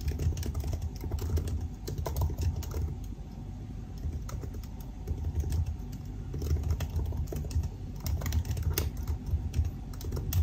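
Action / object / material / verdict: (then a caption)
tap / laptop keyboard, plastic keys in aluminium body / plastic / none. Two hands type with their fingertips on the black plastic keycaps of a silver aluminum laptop resting on a desk, producing a steady run of short key taps. The clicks sit over a heavy low rumble, with brief bright ticks throughout.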